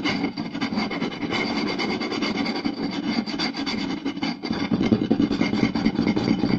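Two hands quickly scratch and tap the surface of a round solid wooden plate, seen close up, using fingertips and short nails. The result is a dense, continuous raspy rubbing with rapid dry taps, centered in the low-mid range with a bright scratchy edge. It grows louder and more forceful in the last couple of seconds.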